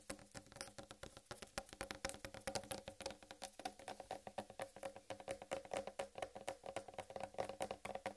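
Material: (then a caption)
Melon rind. Long red nail tips tap quickly on the rind of a large, solid whole watermelon. The result is a rapid, steady patter of short, dry knocks with a hollow tone around 550 Hz and bright clicky tips, each dying away almost instantly.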